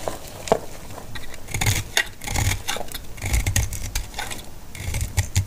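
A solid, dry, pale green antibacterial soap bar held in the palm is sliced and scraped with a metal utility blade. Short, dry, crackly scraping bursts with bright, crisp edges and a soft low thud come in a steady, uneven series, each dying away almost at once.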